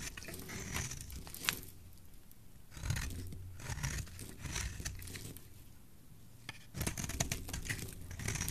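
A utility knife blade shaves curls off a solid rectangular white soap bar with green specks. Bursts of crisp, bright scraping and crunchy crinkling come in strokes, separated by quieter gaps with a low background rumble.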